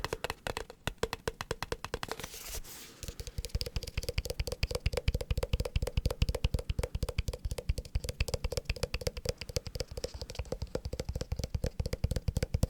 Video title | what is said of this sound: ASMR consistent tapping (fast but gentle) | it has the shaky sounds on the inside